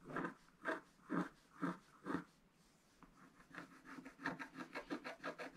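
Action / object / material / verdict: scrape / wax-coated scratch art paper scratched with a wooden stylus / waxed paper / none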